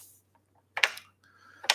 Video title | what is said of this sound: 25K Subs Thank You! Ramble Stream | i shake it hard i guess it's got some rattle